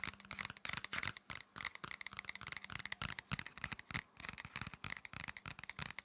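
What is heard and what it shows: Hands rub and scratch the surface of a thin, flat red paper or card pocket folder. Quick, dry scratching strokes come in rapid, uneven bursts, bright and papery with a faint tone near 2 kHz and very little low end. Each stroke stops almost at once, with brief gaps between the flurries of scratches.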